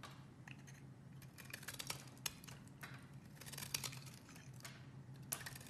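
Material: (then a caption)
Soap. A utility knife blade carves a solid, opaque, hand-sized beige bar of soap, making soft scraping and cutting sounds as shavings fall off. Brief, bright crisp slices stand out over a quiet, steady low hum.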